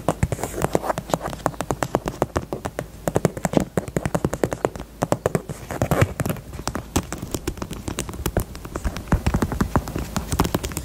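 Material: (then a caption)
Faux leather. Long nails tap rapidly across the side and edge of a small, hollow, pink faux leather heart-shaped purse. They make a steady stream of short, dull, muffled knocks, heavy in the lows, with almost no ring after each tap.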